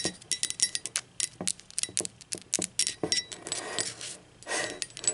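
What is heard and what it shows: Long pointed acrylic nails tap the body and base of a hollow blue speckled ceramic mug, shown upside down and on its side. Quick, bright clicking taps with very short, high ringing tones follow one another in rapid, uneven bursts. Toward the end, softer scraping and rubbing sounds blend in between the taps.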